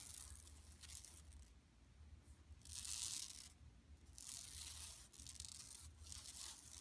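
Long nails on both hands scratch across a large, flat, empty yellow woven plastic mesh tote bag lying on carpet. The result is a bright, dry scratching and crinkling rustle that swells into louder bursts around the middle and later parts of the clip, over a faint low hum.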